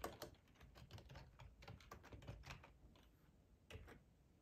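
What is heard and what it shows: Fingertips of both hands type on a black plastic ergonomic split computer keyboard with a hollow housing, lying on a tablecloth. Quick, dry clicking taps come in uneven bursts, each with a hollow low thump under a brief bright click. The typing eases to a lull near the three-second mark, then a short final flurry follows.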